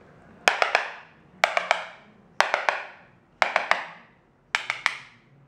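A hand taps across large glossy white ceramic floor tiles laid on concrete, some already removed, with a small hard yellow plastic tool, checking neighbouring tiles for a hollow, not fully adhered sound versus a solid one. Fifteen sharp, bright clacks come in five quick bursts of three, each burst trailing a brief hollow-sounding ring before quiet.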